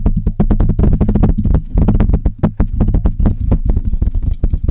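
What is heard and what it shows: Long red nails tap and scratch on the hollow metal mesh grille of a Blue Yeti microphone while fingers rub across it. The result is a fast, dense run of short, deep, thumping taps with a low hum-like resonance and brief scratchy rustles between them.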